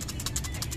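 A metal clutch disc removed from a manual car is shaken by hand, giving a quick run of bright metal-to-metal rattles over a low steady hum. The disc is faulty, and this is the same rattle the car made while running that went away when the clutch pedal was pressed. After it was replaced with an original part, the noise was gone.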